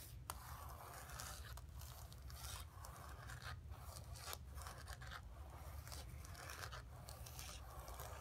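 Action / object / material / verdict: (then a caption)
scrape / painted canvas board / canvas / none. Long nails scratch and tap across a flat painted canvas board lying on carpet, worked with both hands. A steady, dense scratching runs throughout over a low rumble, with a few sharper, brighter taps standing out.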